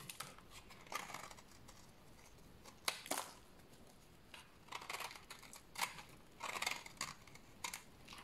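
A solid bar of dry white soap is held in the hand and shaved with a utility knife blade into powdery shavings. Short, bright, dry scraping strokes come in irregular bursts, with quiet pauses between them.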